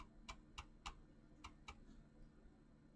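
Fingertips with short painted nails type fast on a full-size mechanical keyboard with clicky green switches, pink-blue PBT plastic keycaps and a hollow plastic body. Five sharp, bright clicks come in an uneven rhythm, each dying away almost at once, over a quiet, steady low hum.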